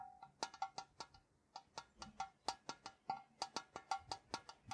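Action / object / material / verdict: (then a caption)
tap / sheet metal tea tin / tin / none. A tall, hollow printed metal Ceylon tea tin, held on its side in one hand, is tapped on top with fingertips and nails. About 22 quick, irregular taps each give a bright metallic tick with a short, hollow ring near 780 Hz. The taps come in uneven clusters with brief gaps between them.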